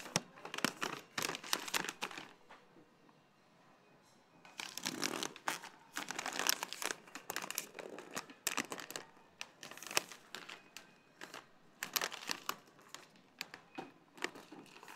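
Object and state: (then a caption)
Paper granola bag. A full, medium kraft-paper bag of organic granola is held by its top above a supermarket cart and squeezed and crinkled with the fingers. Bursts of dry, bright crinkling and rustling come in clusters with a quieter pause around the fourth second, then resume.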